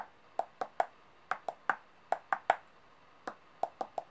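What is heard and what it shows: Long painted nails tap directly on the faces of large solid metal coins laid out on a white table. Thirteen quick, separate clicks are heard in small clusters, each with a bright metallic ping centered around 770 Hz, some higher at 1 to 1.6 kHz. Every tap dies away almost at once.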